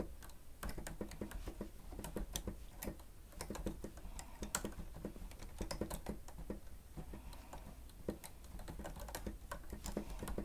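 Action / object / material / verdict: tap / plastic stenotype machine keys / plastic / none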